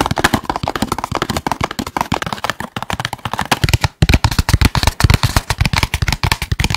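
Fingertips and nails tap quickly near the mic on a small, red and white printed cardboard KFC box that is hollow and apparently empty. About forty short, dry, hollow thumps come in an uneven rapid run, with a low body and a light papery click. After a brief pause around the four-second mark, the taps return louder and boomier.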